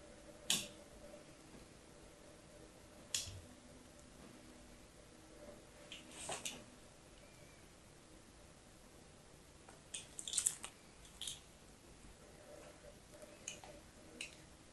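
A blade tip is drawn across the surface of a solid pink bar of soap held in the hand, scratching lines into it. Short, quiet, bright scraping scratches come in scattered bursts over a soft background hiss, each dying away almost at once.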